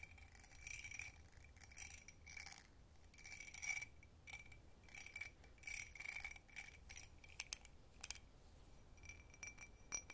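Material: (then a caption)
Glass. An empty hobnail-textured glass tumbler is held in both hands while long red nails tap and scratch its textured surface. Quick, bright clicks and glassy scratching arrive in irregular bursts, with a faint ringing tone behind them. The sound is quiet, with short decays.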